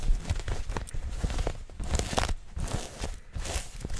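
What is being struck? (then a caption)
Soft stretchy knit fabric garment. Soft, stretchy maroon knit fabric, like tights or leggings, is bunched up right in front of the microphone and scratched quickly with long fingernails by hands wearing rings. The result is a rapid, uneven run of close, rustling scratches with dull low thumps and a faint bright hiss.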